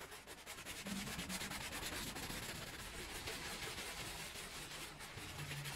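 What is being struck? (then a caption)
Woven rug scrubbed with a brush. A gloved hand scrubs a small fringed woven rug covered in foam on the floor with a handheld brush. Steady, overlapping scrubbing strokes make a continuous bright, wet rasping sound. A faint low hum sits underneath.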